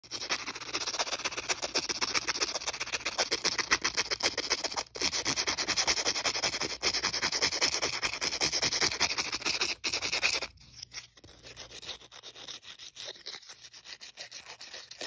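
Fingertips and nails rub and scratch the abrasive surface of a thin, flat, solid emery board nail file with a white finish and red and blue star print, held close over carpet. A dense, rapid, bright rasping scratch runs steadily for about ten seconds, then drops to quieter, sparser scratches.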